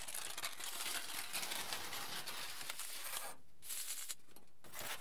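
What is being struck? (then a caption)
Aluminium foil sheet. A flat, wrinkled aluminium foil sheet is rubbed and gathered by hands and fingertips, producing dense, bright crinkling and crackling. The sound runs almost continuously, with two brief quiet pauses before the rustling resumes.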